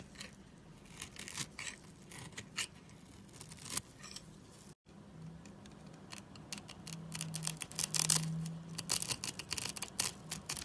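A steel utility knife blade scores and scrapes a solid, dry, light-blue bar of soap, breaking cubes off it. Rapid, irregular dry crunches and scratchy scrapes come through bright and crisp, with a brief gap just before the halfway point. The cutting grows louder and denser in the second half.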